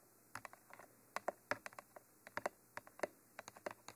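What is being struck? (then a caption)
Textured plastic microphone tube. Long nails and fingertips tap along the textured surface of a hollow black Mitra 3D Pro binaural microphone tube with white end cages. About 20 quick, dry clicks come in irregular bursts over a quiet background, each one very short with almost no ring and centered in the midrange near 600 Hz.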